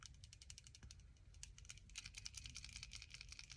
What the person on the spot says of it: you guys hear the ball